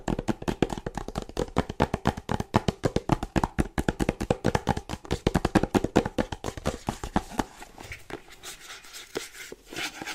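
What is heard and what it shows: Fingernails tap and scratch across the top and front of a small printed cardboard charger box. A rapid, steady run of short, dull taps with weight in the low end fills most of the clip. After about eight seconds it gives way to quieter, hissier scratching with only a few taps.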